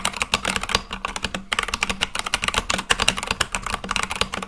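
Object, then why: Mechanical keyboard with plastic keycaps. Continuous fast fingertip typing on a full-size Akko mechanical keyboard with white and light-blue plastic keycaps on a black case. A dense stream of short, bright, clacky keystrokes centers around 2.8 kHz, with little low end and almost no ring after each key.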